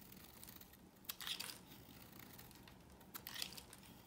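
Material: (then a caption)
Soap. A dry, pale yellow rectangular bar of soap is held in the hand and carved with a knife blade into crunchy, crumbly shavings. Two bursts of bright, crisp crunching and scraping rise over a quiet hiss, one near the start and one near the end.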